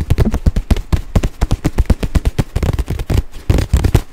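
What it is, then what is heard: Nylon crossbody bag tapped. Fingertips and nails tap and scratch the front panel of a small, hollow, olive-green nylon crossbody bag with a printed logo, held up close to the mic. A rapid, steady run of dull, deep thumps is heard, each dying away almost instantly, with a faint scratchy rustle of fabric between them.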